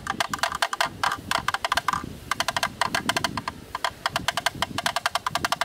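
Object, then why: Plastic camera lens hood tapped with a thin bamboo stick. A thin bamboo stick knocks on the inner rim of a black, rectangular, hollow plastic camera lens hood held in both hands. It produces rapid, uneven runs of dry, hollow, wood-block-like clicks centred near 1 kHz with bright upper edges. Each tap dies away almost instantly, with only brief pauses between bursts.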